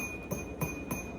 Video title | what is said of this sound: Realistic Weekend Vlog - Estate Sale Shopping, Self-Care & Mother-Daughter Time (Links Below Amazon) | let's see if it rings. Hear that lovely tang? I love that.